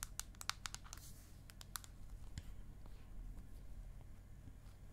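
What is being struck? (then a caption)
Aluminium back of a tablet. Long acrylic nails tap and scratch across the flat aluminium back of an iPad mini held upright. A quick run of sharp, bright clicks fills the first two seconds, then fades into softer scratching over a steady low hum.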